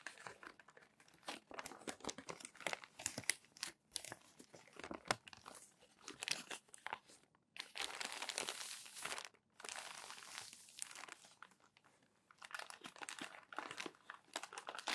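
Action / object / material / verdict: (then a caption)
scrape / glossy paper magazine pages / glossy paper / none. Fingers grab and flip crumpled glossy paper magazine pages, and a palm rubs them flat, making dense, bright crinkling and crunching. Bursts of crackle alternate with longer steady rustling stretches of rubbing, separated by brief quiet pauses.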